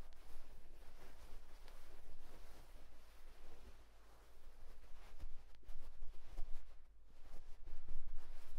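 Fingers of one hand rub and scratch a white cotton terry towel, making a quiet, continuous rough rustle and scraping. The texture is broadband and fuzzy, with brief brighter scratchy strokes over a steady low hum, and it swells slightly louder toward the end.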